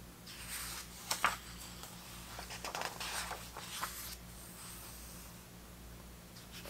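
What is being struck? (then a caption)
Thick paper pages of a hardcover book. Fingertips glide across the thick vintage paper pages of a large open hardcover 1970s soccer book and turn them, making soft dry rustles and brushing swishes with a few sharper crisp flicks. A faint steady low hum sits underneath, and the sound fades back to quiet at the end.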